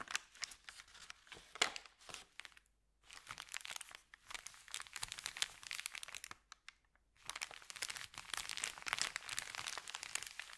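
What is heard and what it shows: Fingertips press and rub a thin, empty, crumpled white Subway paper bag, making dense, bright crinkling and crackling with almost no low end. The crinkling comes in bursts separated by two brief silent pauses, and each crackle stops almost instantly.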